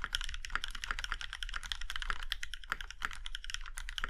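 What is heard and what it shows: Fingertips of both hands type quickly on a compact Iron 165 mechanical keyboard with a plum-red aluminum case and black keycaps. The result is a steady stream of crisp, bright clacks that die away almost instantly, over a low, soft rumble.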